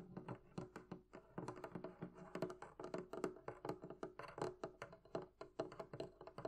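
Long nails and fingertips tap a rapid, uneven series of hits on the top and sides of a hollow, closed wooden barrel-shaped chest. Each tap is a soft, dull knock with a faint hollow tone around 360 Hz and a very short ring. The taps carry little bright content.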